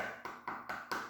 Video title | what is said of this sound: How to Bake Cuban Bread | when you tap it on the bottom it sounds kind of hollow